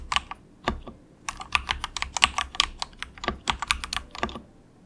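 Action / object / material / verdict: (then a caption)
tap / plastic mechanical keyboard / plastic / none. A compact plastic mechanical keyboard resting on a desk mat is typed on continuously with both hands, fingertips pressing the keys. About twenty short, bright clicks with very little ring come in uneven bursts, with a brief pause near the start.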